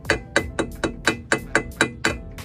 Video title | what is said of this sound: PPS-CF is 🔥🔥🔥 | It literally sounds like metal